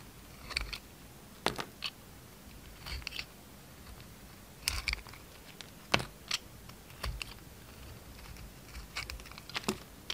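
A yellow utility knife peels the silver glitter coating off an oval, solid, peach-colored bar of soap held in the palm. The result is a series of short, crisp scraping and crackling bursts, bright and dry with almost no ring, separated by quiet gaps.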